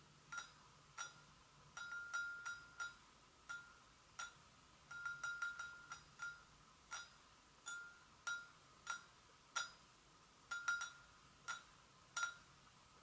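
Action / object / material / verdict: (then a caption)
tap / porcelain gravy boat / porcelain / none. A porcelain gravy boat is gently tapped, giving a series of short, bright clinks with a ringing tone near 1.4 kHz. Each clink fades quickly against a quiet background.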